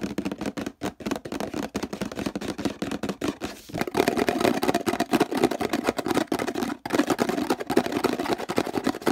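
Fingertips rapidly scratch and tap the textured plastic near the handle and base of a hollow orange plastic detergent bottle with a handle. The result is a dense, fast stream of dry, hollow clicks and scrapes with a midrange body, briefly thinning just before the four-second mark and cutting out for an instant near the seven-second mark before continuing.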